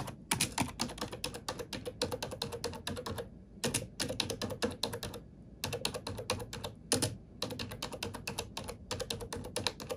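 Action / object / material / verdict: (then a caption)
tap / plastic computer keyboard / plastic / none. Fingertips with long painted nails type on a glossy black plastic computer keyboard resting on a wooden desk. Rapid, bright, clicky keystrokes come in quick bursts with a few brief pauses, each tap short and dry.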